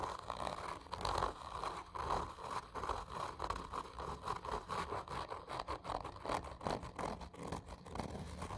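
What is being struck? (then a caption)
Cardboard tube. Long nails scratch slowly and hard near the end of a hollow black textured cardboard whisky tube. The result is a continuous run of rough, scraping strokes that swell and fade, centered on a hollow midrange tone around 1 kHz with little high or low content.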